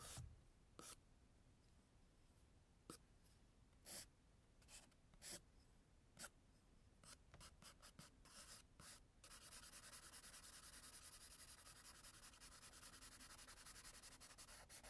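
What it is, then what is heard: Pencil strokes on toned sketchbook paper. An orange graphite pencil makes quick straight strokes across a tan toned sketchbook page, each a short, bright scratch separated by quiet pauses. Around the nine-second mark it turns to steady hatching, a continuous dry scraping that carries on to the end.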